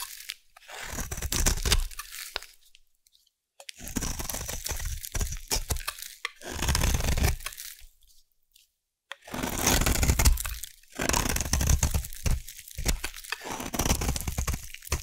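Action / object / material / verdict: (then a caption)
scrape / bar of soap cut with a metal blade / soap / none. A solid purple bar of soap is shaved and carved with a metal blade, producing crunchy curls. Bursts of dense crunching and scraping, low and heavy with a bright crisp edge, are separated by brief silent pauses.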